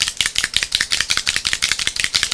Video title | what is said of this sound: LIVE! Alcohol Inks with Barb Owen - HowToGetCreative.com | the mixatives have a mixing ball in here and you need to hear that rattling around